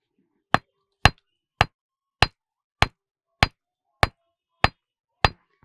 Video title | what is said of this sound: Lalluram Janmashtami Special : पत्थरों से आती है घंटी की आवाज - ujjain - Krishna | खनक साफतौर पर सुनाई दे रही है